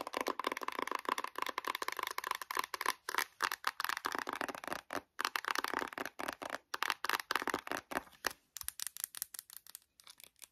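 Long nails rapidly tap and scratch the glossy printed cover of a closed, flat, book-like white cardboard eyeshadow palette with gold speckles. The result is a dense stream of short, dry clicks and scratchy brushing, centered around 1.2 kHz with a bright upper edge. There is almost no low end and no ring after each hit.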